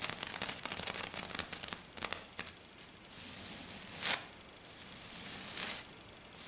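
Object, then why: Silver glitter foam sheet. Long dark nails scratch fast and hard across a flat silver glitter sheet, likely glitter foam, first with one hand and then with both. Dense, bright, rasping scratches crowd the first two seconds, then thin into separate strokes. Longer, steady hissing scrapes follow, with a louder rough swipe near the fourth second.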